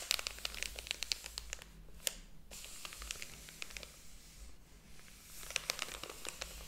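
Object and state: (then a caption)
Paper book pages being flipped. Fingers handle and flip the paper pages of a large, thick hardcover book lying open on a table. Quiet, bright crinkling, rustling and crisp ticks come in clusters, with a softer lull in the middle before another burst of page crackling near the end.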